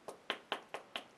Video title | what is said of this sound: Planet Hulk Statue Bowen Designs Marvel Avengers | if you uh knock it it's actually hollow inside